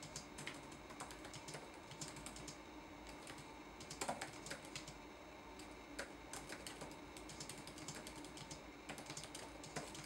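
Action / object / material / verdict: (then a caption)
tap / plastic laptop keyboard / plastic / none. Fingertips type on a red-backlit laptop keyboard with plastic keycaps, producing a steady stream of quiet, bright, clicky taps. A few louder clusters of keystrokes stand out around the 4- and 6-second marks.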